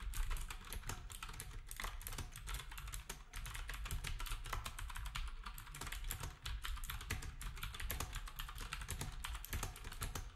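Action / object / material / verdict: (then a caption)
tap / plastic round-key keyboard / plastic / none. Fingertips of both hands type quickly on a black retro typewriter-style keyboard with round plastic keycaps resting on a desk. A steady stream of short, bright plastic clacks sits over a soft low thump, and each keystroke dies away almost at once.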